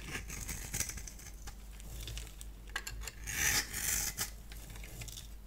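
A solid purple bar of soap held in the hand is scored and cut into flakes with a multi-blade cutter. Bright, crisp scratching and scraping sounds come in quick strokes, with the loudest, hissiest cut near the middle of the clip. A steady low hum sits underneath throughout.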